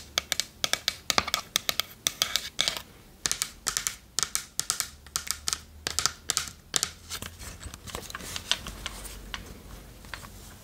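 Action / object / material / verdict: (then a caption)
tap / small varnished wooden chest / wood / none. Long nails tap on the curved lid and sides of a small, hollow, varnished wooden chest held up close. The sound is a fast, uneven run of bright, dry clicks with almost no ring. Over the last few seconds it thickens into a denser, softer patter that sounds more like scratching.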